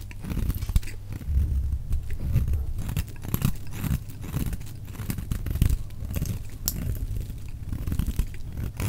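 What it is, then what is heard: Bar soap shaved with a knife. A solid dry orange bar of soap is held in the hand and shaved into curls with a metal utility knife blade. The result is a steady run of dry, low scraping and crisp shaving strokes with short bright edges.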